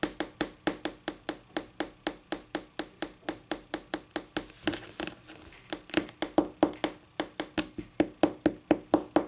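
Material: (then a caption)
Laminate. Long painted nails from one or both hands tap on a solid, flat white wood-grain laminate tabletop. About 39 quick, dry clicks come in a steady rhythm, briefly blurring into a faster flurry midway, with a faint tone near 300 Hz under each short tap.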